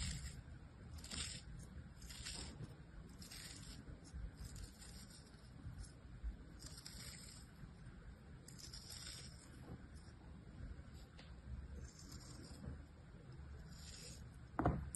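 A hand-sized solid star of molded kinetic sand resting on an open palm is cut into slices with a metal knife blade using a slicing, scraping action. Quiet, soft, gritty scrapes repeat over a low, steady rumble, each stroke adding a brief bright hiss. A slightly sharper crunch comes near the end.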